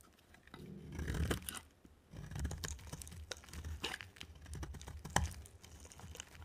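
A utility knife blade cuts and scrapes a dry, solid, white oval soap bar with a green rim. Quiet, dry, crunchy scraping comes in uneven strokes, dominated by low rumble, with a pause near the two-second mark. Occasional sharp, bright clicks cut through, the loudest near five seconds.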